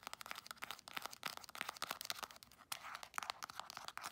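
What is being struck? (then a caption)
Soft plastic cream tube. Long acrylic nails rapidly tap and scratch a hand-sized Palmer's cocoa butter soft plastic cream tube, working over its printed surface and crimped end. The result is a quiet stream of sharp, dry clicks centered around 1.3 kHz, with bright, crinkly scraping and no low end.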